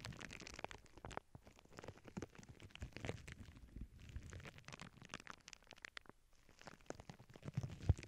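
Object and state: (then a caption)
Plastic bubble wrap sheet. Both hands with long painted nails press, rub and scratch a flat sheet of clear plastic bubble wrap lying on a cork board, with earbud microphones resting on the sheet. The result is a quiet, continuous stream of dense crackles, soft rustles and short dull thumps, heavy in the low end. A sharper, louder crackle rises near the end.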